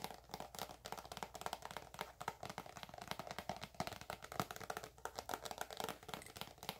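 Long acrylic nails tap and scratch a filled, hand-sized white soft plastic squeeze tube of eczema cream held close. The result is a steady stream of quick, dry, quiet clicky taps mixed with faint scratchy crinkling. Each tap dies away almost instantly.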